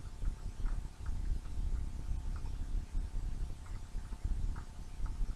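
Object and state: Nothing is struck.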